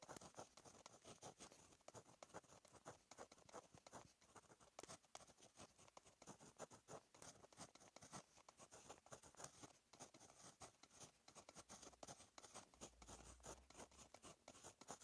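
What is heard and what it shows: A blue plastic Monami 153 ballpoint pen writes Korean cursive on a lined paper notebook page, its metal tip scratching across the paper. The result is a quiet, steady run of short, bright scratchy strokes that continues throughout.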